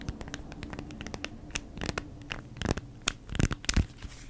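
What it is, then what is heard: Beeswax-coated cotton food wrap. A folded beeswax-coated cotton food wrap is scratched with long nails, giving quick, uneven bursts of dry, bright scratching over a faint low hum. Toward the end the wrap is turned and handled, producing louder crinkling swishes.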